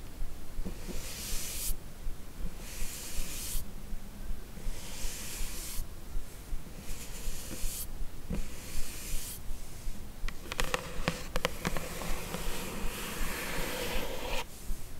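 Long acrylic nails scratch and tap the lid of a closed, medium-size, hollow light blue rigid paperboard beauty gift box. Rhythmic bursts of soft, airy scratching repeat roughly every second or two. A cluster of sharp, dry taps comes near the end.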